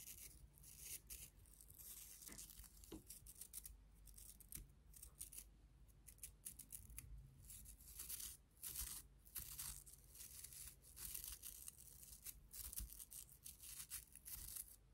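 Long nails scratch and flick the nylon bristles of a pink and clear plastic toothbrush, making a dense run of dry, crackly scratches and short bright rasps. A steady low hum sits underneath, and the whole clip is quiet.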